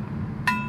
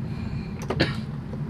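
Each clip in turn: First: gold flute headjoint, clear ring. Second: silver flute headjoint, dull with no ring.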